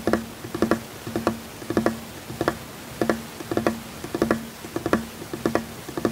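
One hand taps continuously with bare fingertips on a solid, flat, light-colored wooden tabletop. The result is short, dry knocks with a low hollow tone near 220 Hz, falling into quick, uneven clusters and rolling patterns. Each tap dies away almost at once.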